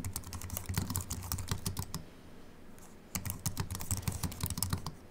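Fingertips of both hands type on a compact Apple keyboard with a silver aluminium body and white plastic keys, resting on a wooden desk. Rapid, short key clicks with bright tops and a low thud to each press run in quick bursts. The typing pauses for about a second in the middle and then resumes at the same pace.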